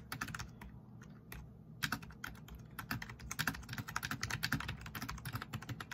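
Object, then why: Plastic membrane keyboard. Fast typing with the fingertips of both hands on a black plastic backlit RGB membrane keyboard resting on a wooden desk. It produces a rapid, uneven stream of short, dull plastic clicks that peak around 1.6 kHz with a soft low thump beneath. A brief lull comes before the keystrokes pick up again and grow denser toward the end.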